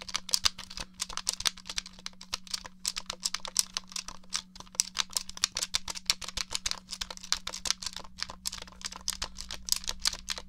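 Fingernails tap and press the buttons of a hollow grey plastic Nintendo 64 game controller in a rapid, uneven stream of sharp, bright plastic clicks. Each click dies almost instantly, over a faint steady low hum.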